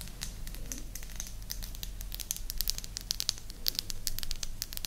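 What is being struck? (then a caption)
Small wooden disc. Long nails tap and scratch a small, flat, round, solid light-wood disc with a blue dot, held in both hands in front of the microphone. A quick run of dry, bright clicks and crisp scratchy ticks stops instantly with no ring, over a steady low hum.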